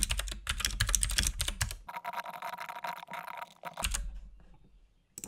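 Fingertips of both hands type continuously on a compact RGB-backlit mechanical keyboard with plastic keycaps and a hollow case, producing rapid, uneven clicky keystrokes over a low thud. The typing briefly thins to a lighter, bright clatter with no low end, then picks back up, fades to near silence, and ends with a short final burst of keys.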